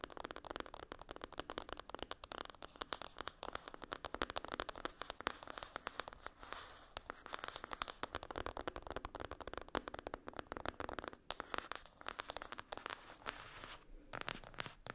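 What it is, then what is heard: Cardboard eyeshadow palette. Long acrylic nails rapidly scratch and tap on the closed lid of a flat rectangular cardboard eyeshadow palette with a foil-printed top. The result is a dense stream of dry, crackly scrapes and quick clicks, centred in the midrange with some bright upper detail. There are brief lulls near the end.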